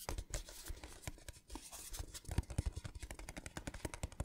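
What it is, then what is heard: Metal tin box. A small, hollow, patterned printed metal tin box is turned in the hands and tapped with fingernails. Quiet, dry clicks and taps with almost no ring come in a rapid, uneven series over soft scraping and handling rustle. The taps are weighted toward a dull low thump with faint bright edges.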